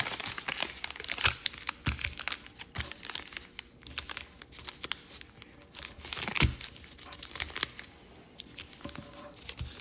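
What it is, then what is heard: Origami paper being folded. A sheet of grey paisley origami paper is folded on a table while fingertips and nails rub and press its creases. The result is a dense run of bright, dry paper crinkles and crisp, short crackles, with a few louder snaps standing out.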